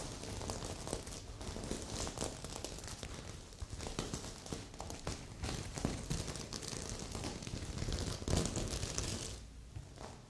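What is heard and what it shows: Long nails scratch across the sequins of a stuffed magenta sequin heart pillow, with a second pillow nearby left untouched. A dense, continuous crinkling rustle with bright, scratchy clicks rides over soft low thumps. It swells briefly near the end, then fades.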